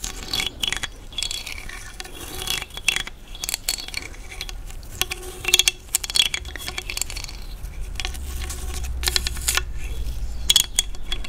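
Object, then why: Large cowrie seashell scraped with a thin stick. A thin dark stick is scratched across the ridged teeth at the opening of a large hollow cowrie seashell. It makes rapid, dry, bright ratcheting clicks in uneven bursts, with a few louder scrapes. Each click stops almost at once, and a faint low rumble sits underneath.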